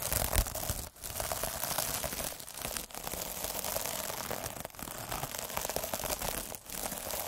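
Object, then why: Plastic mesh scrub sponge. A derma roller with metal needles is rolled back and forth over the top of a palm-sized, puffy, sparkly iridescent plastic mesh scrub sponge, scratching the mesh. The result is a dense, continuous crackling and crinkling scratch across the whole range, with brief dips at each change of direction.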